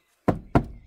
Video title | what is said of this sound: VOYONS VOIR (37): dacia sandero stepway 1 - la simplicité en grimpant sur les trottoirs | on réduit l'épaisseur du plastique, c'est-à-dire que ça sonne vraiment creux